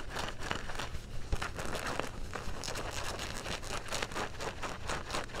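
Fingernails scratch across the back pocket stitching and fabric of dark blue denim jeans. The result is a steady run of quick, dry, raspy scratching strokes with a crinkly texture over a low, dull rumble.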